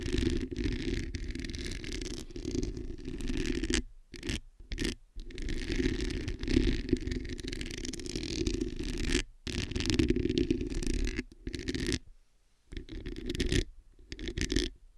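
Long nails scratch and scrape across the hollow metal mesh head of a black microphone gripped in both hands. The result is a continuous, gritty rasping with a strong low-mid body and a bright, hissy edge, broken up by short silent pauses.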